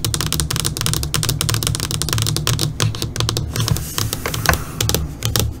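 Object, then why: Flat LCD monitor screen tapped with fingernails. Long, pointed purple nails tap quickly with both hands on the flat black screen of an LCD computer monitor, then one hand keeps tapping with its nails. The result is a dense stream of short, bright clicks, each dying away almost instantly, over a steady low hum.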